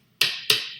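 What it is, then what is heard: Hard copper pennies. Five copper pennies from a science kit are tapped, giving two bright, high-pitched metallic clicks, each with a short ring around 2.8 kHz that fades quickly. The hard, clinking sound is a clue that the pennies are hard objects.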